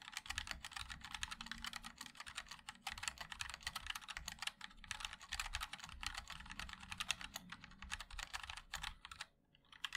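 Fingertips of both hands type continuously on a compact 60% MOD-L mechanical keyboard with a black case, white and black plastic keycaps and linear switches. The result is a rapid, steady stream of short, bright plastic clacks with a soft low thock underneath, briefly pausing near the end before resuming.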